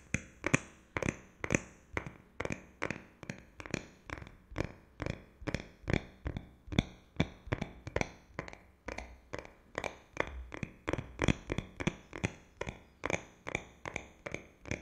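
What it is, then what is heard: Smartphone (metal and glass). A flat, solid rose-gold smartphone of metal and glass is held horizontally in front of a microphone and tapped rhythmically with the fingertips of both hands. A steady run of short, dry taps sounds, each cut off almost at once, with a low knock under a bright click.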